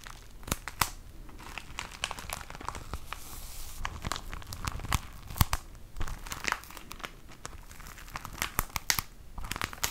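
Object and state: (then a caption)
Tissue paper pack in plastic wrap. A flat, medium-sized pack of 20 tissue paper sheets sealed in a thin plastic sleeve is crinkled and squeezed by hand. The result is a steady stream of sharp, bright crackles and crinkles over a soft low rustle, with irregular louder snaps scattered throughout.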